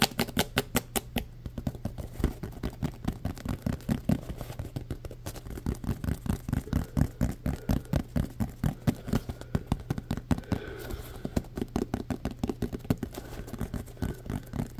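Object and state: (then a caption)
Foam football. A hand-sized green solid-foam Nerf football has its ridged surface tapped and scratched by fingertips and nails. The result is a fast, steady run of dull, soft taps with a low thump and a faint scratchy texture, and almost no ring after each tap.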